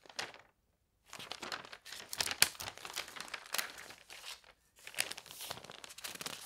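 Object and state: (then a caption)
Newspaper being handled. Hands turn a page of an open paper newspaper lying on a bed and smooth it flat. Bright crinkling and tearing-like rustles come in dense bursts, separated by brief silences near the start and past the middle.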